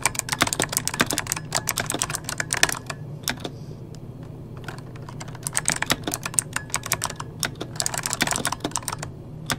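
Fingertips of both hands type on an RGB-backlit mechanical keyboard with plastic keycaps, producing rapid, bright clicky keystrokes with very short decay. The typing comes in bursts, pausing briefly in the middle before resuming over a low steady hum.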